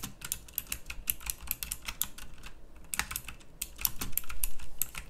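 A pink backlit plastic mechanical typewriter-style keyboard with round plastic keycaps is typed on with both hands. It gives a quick stream of sharp, bright clicks with very short ring, uneven in rhythm and growing louder toward the end, over a low background rumble.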